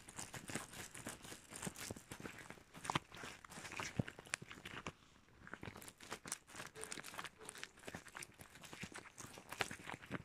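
A pair of shiny red rubber household gloves worn on both hands, with the gloved fingers rubbed, squeezed and squeaked against each other up close. Dense, quick squeaks and crinkly rubbing sounds run almost continuously, with a brief quiet gap near the middle.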